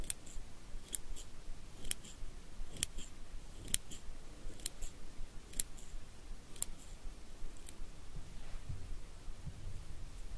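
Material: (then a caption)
Steel. Small steel eyebrow scissors, held in the fingers, are snipped open and closed repeatedly. The result is a quiet, fairly steady series of crisp, high, metallic snips that end instantly with no ring, over a faint low background hum.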